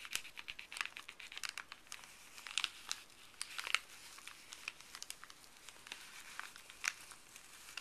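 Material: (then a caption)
Paper. Fuzzy gloved fingers scratch, crinkle and stretch a folded, thin printed paper pharmacy bag. The result is a quiet, steady stream of dry, bright crackles and scratchy rustles, with a few louder sharp crinkles. There is almost no low end, and each crackle stops instantly.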